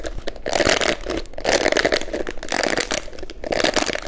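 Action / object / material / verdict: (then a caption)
scrape / plastic paddle hairbrush / plastic / none. Long manicured nails scratch across the dense plastic bristles of a hand-sized pink plastic detangling paddle hairbrush held in both hands. The result is a bright, crackling, rustling scrape that rises and falls in repeated sweeps.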